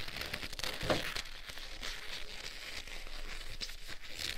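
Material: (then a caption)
Leather. Black leather gloves worn on both hands, with the gloved fingers interlocked and rubbed firmly together. A continuous leather-on-leather squeak and crinkling friction fills the clip, with short squeaky bursts around the one-second mark.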